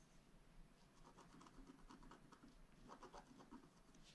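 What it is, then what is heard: Scratch art paper being scratched. A wooden stylus scratches along the upper area of a flat black scratch art paper sheet held down by one hand. Soft, papery scraping strokes repeat in quick bursts over a low, quiet background rumble.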